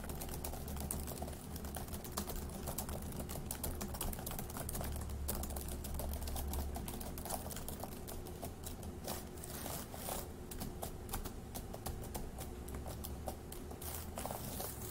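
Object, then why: Plastic laptop keyboard. Both hands type on the plastic keys of a dark grey laptop keyboard, then the fingertips of one hand tap the keys. A dense stream of quick, bright plastic clicks runs throughout over a steady low hum.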